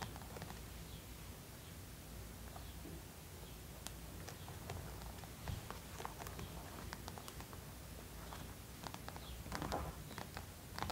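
Long pointed acrylic nails tap the cheeks, nose and chin of a life-size hollow vinyl/plastic mannequin head decorated with stick-on gems. The result is quiet, scattered light clicks and ticks over a steady low hum, with a few slightly louder taps near the end.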